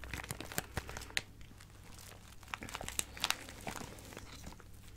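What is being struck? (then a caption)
Plastic bag of acrylic gems. A small clear plastic bag full of colorful acrylic craft gems is squeezed and crinkled with fingertips and long nails. The result is soft, continuous crinkling broken by sharp, bright clicks and crunches as the gems shift, over a faint, steady low hum.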